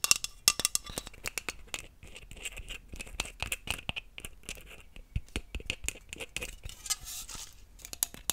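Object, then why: Aluminium aerosol can. Long nails tap and scratch a hollow green aluminium aerosol hairspray can with its cap on, working near the top and along the body. Quick, bright metallic clicks and taps with a faint high ring alternate with soft scraping passages.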